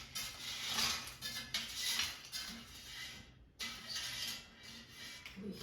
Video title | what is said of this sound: Air Fryer Sliced Potatoes | hear how crispy they are you can just tell